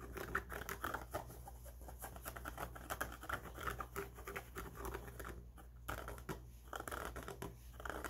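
Fingertips scratch and tap the stiff, fabric-covered brim of an empty grey trucker cap with a black mesh back. The result is a quiet, close stream of quick, dry scratches and soft taps over a steady low hum.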